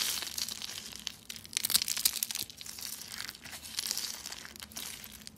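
Rolled pink and white dry soap curls, hollow, thin and brittle, are crushed between fingertips with white nails into flakes. Dense, bright, dry crackling and crunching comes in irregular bursts, with a louder cluster of crisp snaps in the middle and almost nothing in the low end.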